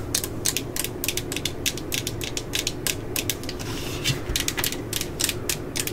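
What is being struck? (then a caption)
Plastic cordless drill housing. A hollow, yellow plastic cordless drill body with a label is held and tapped with long glitter nails. The result is a rapid, steady stream of about thirty sharp, clicky taps over a low rumble.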